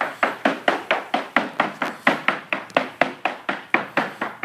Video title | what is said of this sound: 39 Mainship 2000 haul-out from 1 World Yachts | He's tapping the hull now to see if there's any delamination.